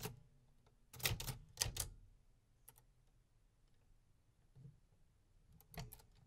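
Fingertips type sparse keystrikes on the metal keys of a vintage 1950s manual typewriter. Each strike gives a sharp, bright mechanical clack over a low thump that dies away almost instantly. The strikes come in irregular bursts with quiet gaps between them.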